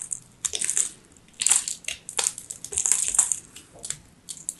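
A solid, dry teal soap ball held in the fingers is cut with a craft knife, and chunks crumble off. The cuts make a series of crisp, dry crunching and scraping bursts that are bright and high with almost no low end, each fading quickly into near silence between strokes.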